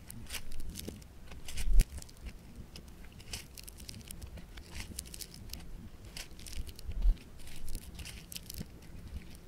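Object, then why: Foam bead clay (floam). A handful of yellow-orange multicolor speckled foam bead clay (floam) is twisted, stretched and squeezed into a rope by fingers. It gives off dense, crackling, crunchy bead pops with bright, sharp ticks over a low rumble. The loudest bursts come near the start and again toward the end.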